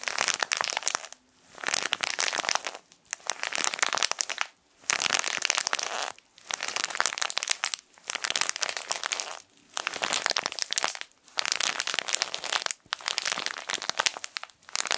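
A small plastic-wrapped tissue packet of printed plastic film is bent and crinkled between fingers. Bright, dense crinkling and crackling comes in nine bursts, each about a second and a half long and separated by brief silent pauses, with no low rumble underneath.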